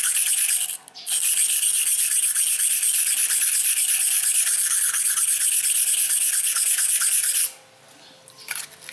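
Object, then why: Steel knife blade on an abrasive whetstone. A steel knife blade is drawn across a dark grey solid whetstone in steady sharpening strokes, making a bright, hissing, rhythmic scrape. The rubbing runs almost continuously, with a brief pause near the start. It stops at about seven and a half seconds, followed by a few faint handling sounds.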